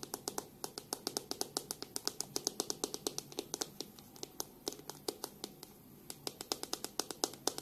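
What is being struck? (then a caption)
Plastic hairbrush tapped with fingernails. Long pink nails tap on the back of a black plastic hairbrush and flick its bristles, with the brush held first bristle-side and then by the back. About fifty quick, quiet, bright clicks follow in a steady, evenly spaced run, each dying away almost instantly with a light hollow tone and almost no bass.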